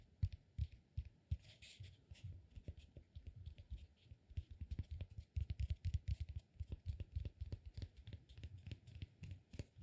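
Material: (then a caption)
Cork. A palm-sized, peanut-shaped solid cork massage ball is held in one hand and tapped and scratched with fingertips and nails. The result is a dense run of soft, dull, low-pitched knocks with quick decay, threaded with faint scratchy rustling.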